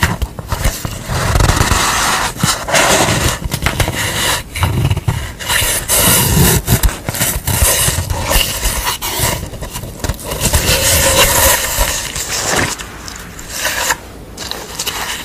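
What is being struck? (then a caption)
Corrugated cardboard sheet. Long nails scratch and tap a piece of corrugated cardboard painted with a red face, its hollow corrugated edge visible, as it is held and laid on a towel. Crisp, irregular scraping and quick tapping crackle across the whole clip with no steady rhythm.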